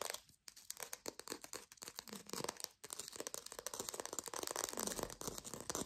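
Long pink fingernails fast-tap a small green artificial plastic lime in rapid, dense bursts of bright, dry clicks with a slightly crinkly texture. Each tap dies almost instantly, with brief pauses near the start and about halfway through.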